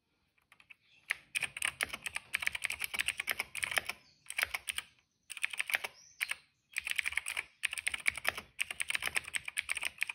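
Fingertips of both hands type steadily on a retro-style cream plastic mechanical keyboard with a hollow case and dark and purple plastic keycaps, resting on a rug. Quick, bright, clacky key taps come in bursts of rapid typing separated by brief pauses. Each tap is crisp and dry, with almost no ring.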